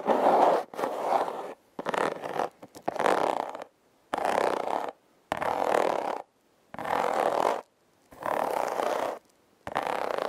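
Long red nails scratch across the ridges of a hollow, red heart-shaped corrugated cardboard box in repeated rasping strokes. Each stroke is a dry, gritty burst centered in the midrange with almost no low end, separated by short silences.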